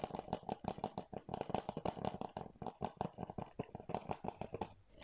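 Fingernails scratch and tap quickly across a hollow blue plastic PS4 game keep case held in both hands. The result is a dense run of short, dry clicks and scratchy rasps with a hollow plastic tone around 750 Hz. Each sound dies away almost instantly.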